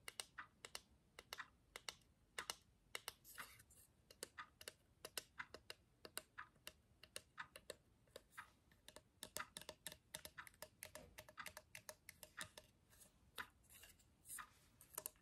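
A small hollow laser-cut cube of thin plywood with a perforated lattice pattern and a twine loop is held in one hand and tapped and scratched with long fingernails. Dozens of quick, dry, bright clicks come in an uneven rhythm, each dying away almost instantly. Brief scratchy rustles fall between them.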